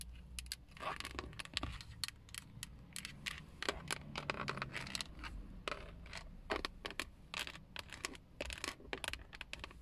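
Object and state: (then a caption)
Plastic steering wheel airbag cover. Long acrylic nails tap and scratch the textured black plastic airbag cover at the center of a Toyota steering wheel, near its chrome emblem; the cover is a hollow molded shell. Quick, dry, clicky taps mixed with raspy scratching strokes follow one another irregularly over a faint low hum.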